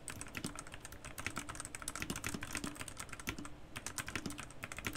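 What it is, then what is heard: Plastic mechanical keyboard. Fast, continuous fingertip typing on a white Garuda Gear GG68B wireless 65% RGB mechanical keyboard with plastic keycaps, shown in close-up. Dense, overlapping clacky keystrokes each have a bright, sharp click over a short low thock, and they die away almost instantly.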